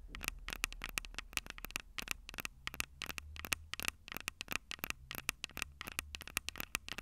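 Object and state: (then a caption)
Metal microphone capsules tapped with fingernails. Long purple nails tap rapidly on the metal microphone capsules of a Tascam DR-05 recorder, producing about forty crisp, bright clicks that die away almost instantly. The taps come in quick, uneven bursts with a faint tonal ring near 2.5 kHz, over a low, steady hum.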